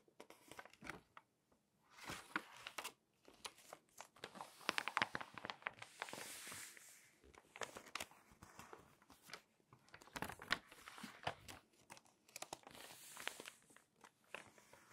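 Pages of an open glossy paper magazine, turned across its photo spreads and rubbed with long nails and fingertips, make quiet, bright crinkling and rustling. Soft scratchy strokes sit between louder crackling bursts as each page flips.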